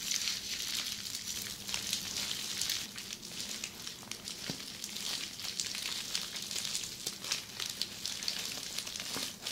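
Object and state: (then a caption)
Plastic bubble wrap scratched. Long red fingernails on both hands scratch across a large flat sheet of red plastic bubble wrap lying on a table. The result is a dense, continuous, bright crackling and rustling, like a sizzle, with scattered sharper ticks and almost no low end. The scratching runs steadily, blending through a crossfade partway through.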